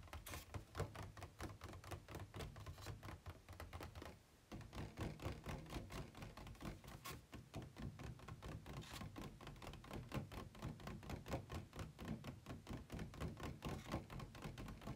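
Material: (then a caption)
Plastic. Fingertips tap inside the compartment of an empty, hollow white plastic packaging insert tray resting tilted on a bed. The result is a fast, uneven stream of short, hollow plastic taps with a dull, low-weighted body and almost no ring, broken by a brief pause near four seconds.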